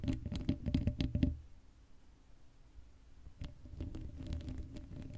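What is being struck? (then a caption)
Metal mesh microphone grille. Long acrylic nail tips rapidly tap and scratch the hollow black metal mesh grille of an uncovered Blue Yeti microphone. A quick burst of dull, bassy taps with brief bright clicks fills the first second, then fades to a near-silent pause. Softer, scattered scratching and tapping resumes for the last couple of seconds.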